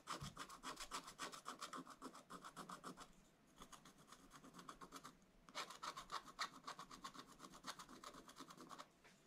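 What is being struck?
Wax-coated scratch-art paper under a wooden stylus.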